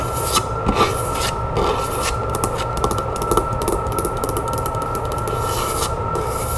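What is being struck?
Small wooden box.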